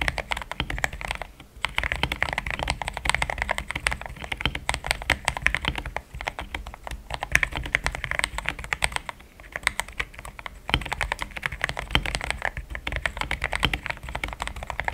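Fast fingertip typing on a compact pink-cased mechanical keyboard with solid, thick cream XDA plastic keycaps. It produces a dense stream of short, crisp keystroke clacks with a mid-to-bright tone around 1.8 kHz and almost no ring. Brief pauses break the typing near 1.5, 6, 9 and 10.7 seconds.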